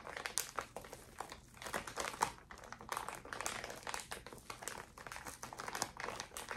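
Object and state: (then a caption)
Plastic zip bag of cotton pads, crinkled. A small clear plastic zip bag holding a stack of cotton pads in a pink paper wrap is held close to the mic and squeezed and crinkled by fingers with long orange nails. The result is a steady, quiet stream of dense, bright plastic crinkles and sharp crackles that die away almost instantly, with almost no low end.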